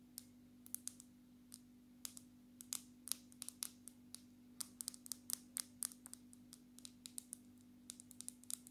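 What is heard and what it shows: Long natural fingernails tap and lightly scratch a black smartphone with a glass screen in a glass and plastic case. The result is an irregular run of short, sharp, bright clicks with almost no ring, set against a faint steady low hum.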